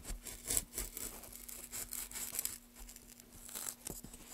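Gloved hands carve a solid pale wooden block with a gouge, lifting long shavings. Quiet, bright scraping and rasping strokes come in repeated bursts over a faint steady low hum.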